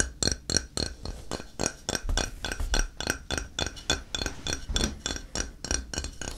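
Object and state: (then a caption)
Ceramic tile tapped. A flat, square, solid grey ceramic tile is held in the hand and tapped on its face with fingertips. A quick, uneven stream of short, bright clicky taps with a soft low thump under each dies away almost instantly.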